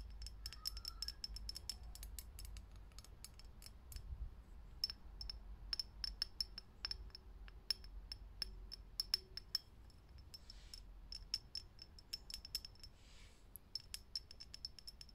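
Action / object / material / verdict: tap / glass light bulb / glass / none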